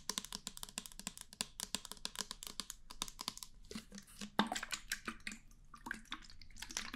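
Fingernails rapidly tap and scratch the body of a small, hollow, clear plastic foam pump bottle with a pink top, which appears empty and is held in the hand. The result is a quiet, fast stream of crisp, bright clicks and scratchy rustles with very little ring. One slightly louder tap stands out partway through.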